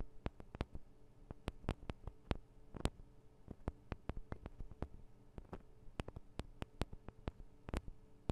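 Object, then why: Small metal microphone capsules. Long nails tap on the sides of the small metal microphone capsules of a Tascam DR-40 recorder, giving sharp, dry clicks in an irregular rhythm over a steady low hum. Each tap is very short and dies out almost instantly, and the whole clip stays quiet.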